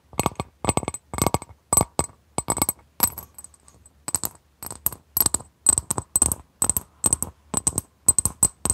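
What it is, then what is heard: Glass bowl tapped with nails. Long nails tap the outer surface of a clear, etched, medium-sized glass bowl, held empty and upside down in both hands. Quick bursts of short, bright clinks come in rapid clusters separated by brief pauses, each tap dying away almost instantly with a faint high ring.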